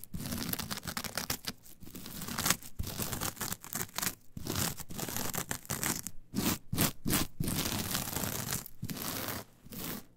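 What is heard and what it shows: Long nails quickly scratch the surface of a flat, brown, coarse, fibrous coir fiber mat. The result is a dense, rough, crackling scratch that spreads from a low body up into bright, hissy highs. It comes in rapid, uneven bursts of varying strength, separated by brief pauses.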